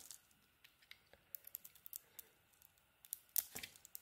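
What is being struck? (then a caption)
Bar of soap scraped with a small metal blade. A solid orange and green bar of soap is held in the hand while its edges are scraped and shaved with a small metal blade. About sixteen quiet, bright, crisp scraping clicks arrive at an irregular pace, with the loudest, broader scrape near the end.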